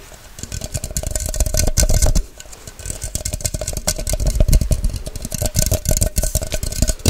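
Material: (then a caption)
Plastic. Long white nails tap fast on the sides of a tall, hollow, empty clear plastic measuring cup with a white cap. The result is a dense, rapid stream of sharp clicky taps with low thumps under them. The tapping softens briefly around two seconds in, then picks back up.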